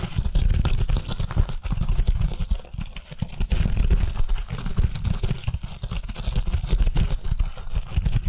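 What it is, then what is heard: Scouring pad of a kitchen sponge. Long nails scratch and tap quickly on the green fibrous scouring pad of an oval foam kitchen sponge held upright. It makes a dense, continuous stream of soft, muffled thumps and rough scratching, mostly deep and low with little brightness. The sound swells and dips slightly throughout.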